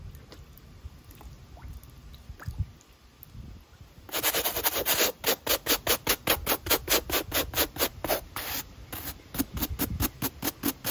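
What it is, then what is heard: Running shoe foam sole being brushed. A natural bristle brush scrubs across the white textured foam midsole of an empty black mesh fabric running shoe. After about four seconds of near-quiet with faint soft rustles, a fast, fairly regular run of bright, scratchy brushing strokes begins and continues to the end, with a faint steady high whine underneath throughout.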